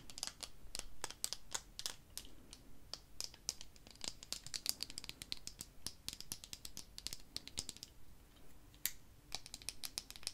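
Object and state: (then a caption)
Plastic eyeglass frames. Small dark plastic-framed eyeglasses are held up close and handled while fingertips and long nails scratch and tap the frame. The result is a rapid, irregular stream of dry, bright clicks and scratches that die away almost instantly over a faint low hum.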